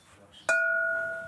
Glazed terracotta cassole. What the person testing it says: we always ring it like that to check if it's cracked or split, a crack we wouldn't have seen